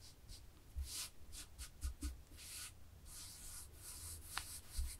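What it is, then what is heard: Knitted fabric. Long fingernails scratch a black and white textured knit fabric close up, making quiet bursts of bright, airy scratching with soft low thumps beneath. The strokes come in uneven rubbing passes with near-silent gaps between them.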